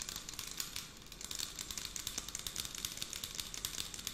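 Long acrylic nails tap and scratch along the body of a clear 100 ml plastic scented water bottle with a pump cap, filled with pink liquid. Quick, bright, crinkly clicks and scrapes come in a steady rapid stream at a quiet level, with little low end.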